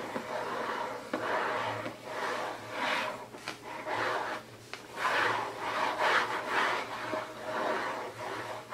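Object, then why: Printed cardboard box. Fingertips scratch and rub the lid and edges of a closed, hollow, printed cardboard gift box resting on a table. The result is a steady series of dry, papery scraping strokes that swell and fade, centered in the midrange with a bright edge and almost no low end.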